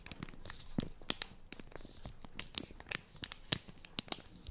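Long nails scratch and crinkle the plastic film of a small, flat wipes packet with a green logo, held close to the microphone. A quiet, steady run of sharp, bright crinkles and dry scratches follows, with a few louder snaps standing out.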